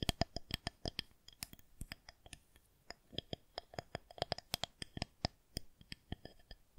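Long nails tap and click along a smooth, solid white plastic rolling pin, a long fondant roller. It makes a quick, irregular run of sharp, dry clicks with a faint ringing tone and bright high overtones that die away almost instantly.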